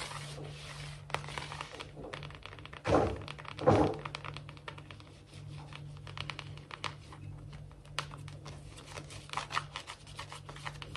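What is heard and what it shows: Long fingernails of both hands rapidly tap and scratch a large, solid, glossy wood-look laminate floor, making quick, dry clicks and scrapes over a steady low hum. Two louder, fuller thumps stand out near the 3- and 4-second marks before the fast tapping and scratching carries on to the end.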